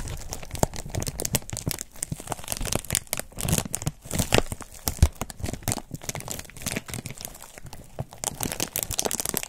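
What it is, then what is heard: Foam wrap sheet being crumpled. A thin, white, textured foam wrap sheet is bunched in the hand while fingers crumple and rub it. The result is a dense, continuous run of soft crinkles and crackles with low rustling thumps and a bright, airy hiss, each sound dying away almost instantly, for about nine seconds.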